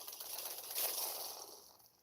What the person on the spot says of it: if you shake this you hear the rumblings of I guess Pride Rock